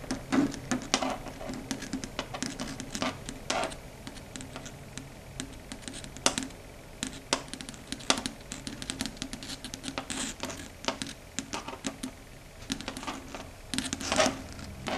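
Long red stiletto nails click and tap rapidly against a flat, solid dark grey chalkboard surface. The sound is a dense, irregular patter of short, bright clicks that die away almost instantly, over a faint low hum.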